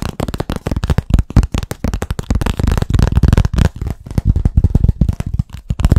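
Fast tapping on a blackboard produces a rapid, continuous run of short, dull, low-pitched knocks. Each knock dies away almost instantly, with no ringing.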